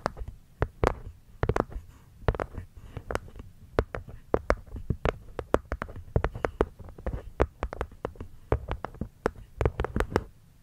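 Long manicured nails tap and scratch the cork lid of a small, hollow, hexagonal light-wood box sitting over a furry microphone windscreen. Dozens of quick, irregular taps land as dull, low-weighted thuds with brief bright clicks that die away almost instantly. Soft scratching and a low rumble fill the gaps between them.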